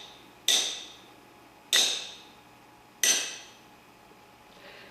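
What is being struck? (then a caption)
Cast iron camshaft. A cast iron camshaft from an old Chevy big block V8 is tapped three times, evenly spaced, to compare its dull sound with that of a Cummins camshaft. Each tap gives a short, bright metallic tick that fades within about a quarter second.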